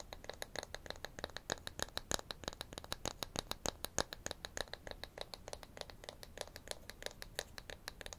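A small, flat, solid light-wood toy wrench from a children's tool set is held in both hands and scratched and tapped with fingernails. It makes a quick, uneven run of sharp, dry clicks and taps with bright, papery scratching between them, and each sound stops almost at once.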